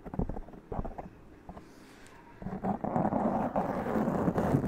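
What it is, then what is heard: Foam microphone windscreen being scratched. Long press-on nails scratch the top and sides of a black foam windscreen on a large condenser microphone. Separate muffled, low scratchy strokes in the first half build into a denser, louder, continuous rasping scrape.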